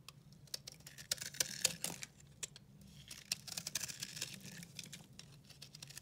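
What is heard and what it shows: A metal utility-knife blade scrapes and carves a hand-held bar of dry, yellow-green mottled recycled soap as powdery crumbs fall. Quick, irregular dry scratches and crisp ticks are heard, bright and high with almost no low end. The sound is quiet and close, and the strokes end sharply without ringing.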